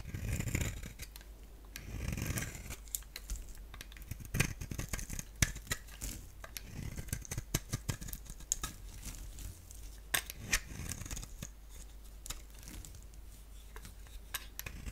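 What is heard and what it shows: A utility blade scrapes yellow curls from a hand-held solid soap bar with a black outer layer and a yellow-orange core. Dry, crackly scraping and crinkling strokes come with many sharp little clicks and snaps over a soft low rumble. Each stroke cuts off quickly with no ring.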